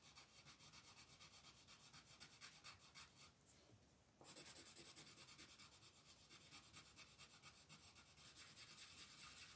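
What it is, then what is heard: Paper coloring page being colored with pencil. A red colored pencil held in the fingers rubs and scratches across a thin paper coloring sheet lying flat on a wooden table, coloring with short, repeated strokes. The quiet, bright, raspy scratching pulses steadily, pauses briefly just before the midpoint, then resumes slightly louder.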